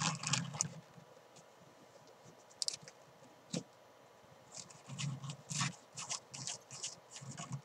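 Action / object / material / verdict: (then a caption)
scrape / fabric climbing chalk bag / fabric / none. Fingernails scratch and rub the fabric front and padded rim of a soft, hollow, black and green fabric climbing chalk bag. Irregular bursts of bright, scratchy rustling come with soft low thumps, separated by quiet pauses, and grow busier toward the end.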